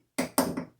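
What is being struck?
Lead wheel weight.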